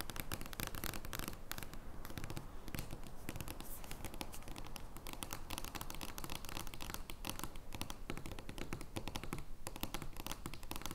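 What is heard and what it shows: Fingernails tap and scratch across a giant paper joker playing card made of large cardstock lying flat on a table. The result is a dense, steady stream of quick, dry taps and rasping scratches, heavy in the low end with brief crackly high bursts.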